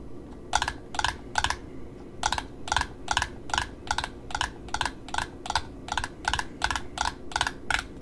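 Long nails tap the cardboard top disc and the ribbon edge of a small black satin ribbon spool held sideways in the hand. About 19 short, dry, crisp clicks come in a loose rhythm: three taps, a brief pause, then a steadier run. A faint low hiss sits underneath throughout.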